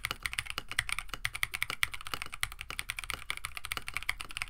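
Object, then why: Mechanical keyboard with plastic PBT keycaps. A KBD67 Lite compact 65% mechanical keyboard, with a plastic case, FR4 plate, PBT keycaps and stock Oolong switches, sits on a desk mat while both hands type rapidly with their fingertips. A quick, steady stream of short, crisp clacks centered around 2 kHz carries bright upper overtones and a light low thud beneath. Each keystroke dies away almost instantly.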